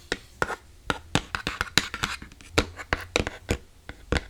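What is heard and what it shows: Fingers tap and scratch on an empty iPad box, giving a quick run of about sixteen short, hollow taps with bright clicky tops and a soft low thump. Each tap dies away almost instantly, with faint scratching in between.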